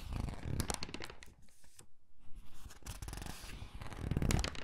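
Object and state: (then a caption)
Glossy paper catalog pages. A thin, glossy paper gift catalog lies open on a table while fingertips and nails pinch, squeeze and flip its pages. Dense bursts of crinkling and rustling fill the start and end, with a quieter stretch of soft page sounds in the middle.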